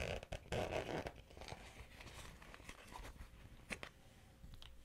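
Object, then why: Small vinyl cosmetic pouch with zipper. Long-nailed fingers pull the zipper on a small, hollow, pink glossy vinyl Hello Kitty cosmetic pouch and open it. Loud, rasping zipper bursts come in the first second, then quieter crinkling and tapping of the vinyl follow. A sharp snap sounds near the end as the pouch comes open.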